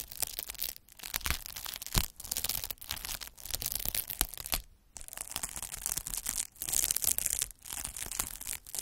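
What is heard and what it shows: A hand with long nails rolls a derma roller with metal microneedles across a large clear plastic bubble wrap sheet of air-filled bubbles. The result is a dense, bright, scratchy crackle in repeated strokes broken by brief pauses, with faint low thumps underneath.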